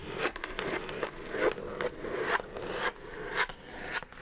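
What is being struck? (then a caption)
Cardboard mailer box. Long nails tap and scratch along the sides and top edge of a hollow brown kraft cardboard mailer box. The result is a series of dry, hollow taps over a continuous papery scratching, mostly midrange with some brighter crackle and very little low end.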